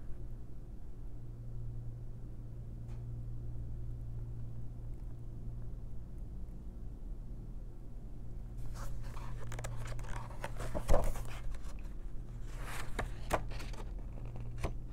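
An open paper coloring book is handled by fingertips with long nails that rub the pages and flip several paper pages. For about the first eight and a half seconds there is only a steady low hum. Then soft, bright crinkling and papery swishes begin, rising to a sharper rustle near eleven seconds and another burst of page-turning swishes around thirteen seconds.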